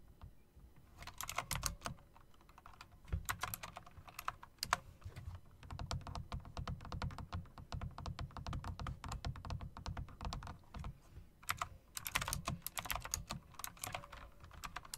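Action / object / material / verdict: tap / mechanical keyboard with plastic keycaps and metal rims / plastic / none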